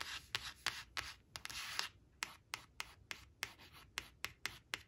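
Long acrylic nails trace and scratch the printed letters "white" on a thin coated paper flash card lying flat on woven cloth. Bright, dry scratching and rubbing fills the first two seconds, then gives way to quick, separate nail scrapes with very little low end, about 15 strokes in all.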